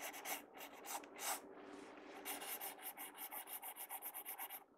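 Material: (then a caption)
Paper. A pencil tip scratches and rubs hatching strokes across the page of an open paper sketchbook, seen up close. Dry, bright, rasping strokes come in a few longer irregular sweeps, then settle into a quicker run of short, evenly repeated back-and-forth scratches with almost no low end.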